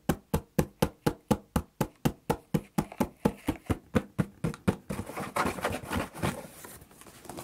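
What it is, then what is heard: Cardboard box knocked. Fingertips and knuckles knock and tap the flat side of a large, hollow, empty corrugated cardboard shipping box with a printed smile logo. About twenty dull, low, hollow knocks come at a steady pace of roughly two per second. The knocks then give way to a denser, quicker, brighter and noisier texture of tapping.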